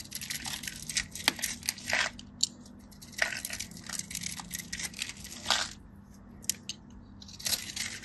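A metal craft knife carves and scratches across the scored surface of a solid, dry, hand-sized white bar soap held by a hand with blue nails, releasing small cubes. Dry, crisp crunching and scraping comes in bright bursts centered around 2 kHz, separated by brief quiet pauses.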